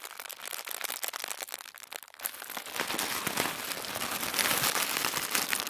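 Thin white tissue paper is scrunched into a fist-sized ball as both hands crumple and squeeze it, making crisp, bright crinkling and crackling with almost no low end. Sparse, quieter crackles in the first two seconds give way to a louder, denser, nearly continuous rustle that keeps building toward the end.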